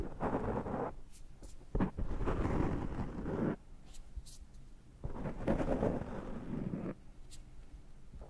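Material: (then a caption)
Foam. Fingertips scratch and rub the surface of a large dark foam microphone windscreen held in one hand, producing deep, muffled, rumbling scrapes. Two long, loud bursts of rubbing are separated by quieter pauses with faint, bright ticks.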